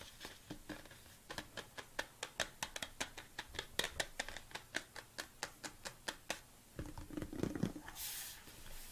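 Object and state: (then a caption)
Plastic supplement tub tapped with nails. Fingertips and long nails tap the side and lid of a large, hollow red plastic BCAA supplement tub in a steady run of quick, sharp, dry clicks with almost no ring. Near the end, a duller rubbing, knocking sound comes in as the tub is rotated slightly, followed by a brief bright hiss.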